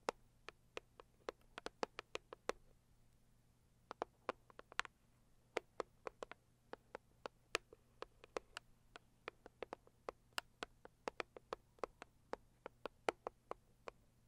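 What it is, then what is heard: Cardboard box (named). A Saviland cardboard gift box is tapped and scratched with long nails, giving about 47 sharp, dry clicks that die away almost instantly. The taps come in quick, irregular runs with a short pause near the three-second mark, over a faint steady low hum.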